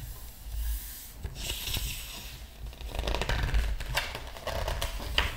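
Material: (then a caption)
Paper. Both hands rest flat on the glossy paper pages of a large open hardcover art book, fingertips rubbing and smoothing the paper before turning a page, with rings and a bracelet worn. Soft, bright papery swishes and rustles build into louder crinkling sweeps, over a steady low hum, ending with a few sharp page-flick sounds.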